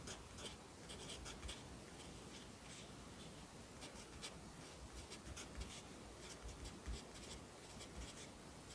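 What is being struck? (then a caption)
Graphite pencil on paper notebook page. A yellow wooden pencil held in the fingers writes across the page of an open lined paper notebook lying flat on a desk, its graphite scratching on the paper. The quiet, steady scratching carries bright, hissy strokes over a soft low hum, with a few slightly louder marks standing out.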